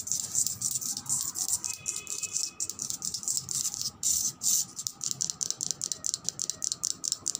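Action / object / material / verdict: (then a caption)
tap / marble slab / marble / none. Long red nails tap and scratch across the top surface and edge of a thick, solid white-grey veined marble slab. The result is a rapid, steady stream of crisp, bright clicks and dry scratches with almost no low end, each tap cutting off instantly without ringing. Short pauses near 4 and 4.8 seconds break up the sequence.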